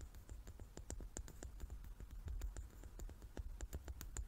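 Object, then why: Wooden die. Long nails rapidly tap and scratch the faces of a hand-sized, solid, light wooden die with dark pips, held in both hands. The sound is a quick, irregular stream of short, dry clicks with bright edges over a soft low rumble and faint scratching in between.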